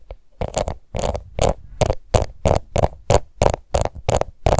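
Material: Plastic.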